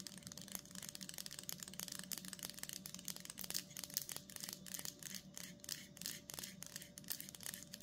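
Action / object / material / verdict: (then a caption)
scrape / cheese block in plastic wrap / plastic / none. Long nails rapidly scratch and tap the front of a solid block of cheddar sealed in plastic with a printed label. The result is a dense stream of bright, crinkly scratches and sharp clicks, with a faint steady hum underneath.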